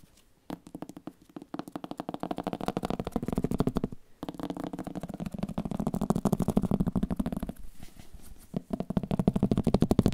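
An old book is tapped in rapid, uneven bursts of short, dull, papery knocks centered low around 200 Hz, with almost nothing bright above. The tapping pauses briefly around 4 seconds and again near 7.6 seconds, then resumes and grows louder toward the end.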